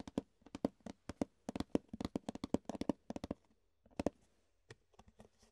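Fingertips tap and scratch the ridged top of an empty, hollow, rectangular clear plastic food container held in both hands. A quick, irregular run of short, dry taps has a hollow body around 270 Hz and bright clicky edges, each dying away almost at once, with a faint scratchy hiss between them. After a brief pause, a few sparser, softer taps close the clip.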